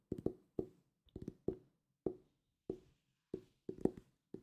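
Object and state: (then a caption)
Hardcover book tapped with fingertips. Fingertips tap a solid purple hardcover book held near the mic, giving soft, hollow thuds with a low-mid tone. The taps come singly, in quick pairs and in one short flurry. Each dies away almost at once, with little brightness.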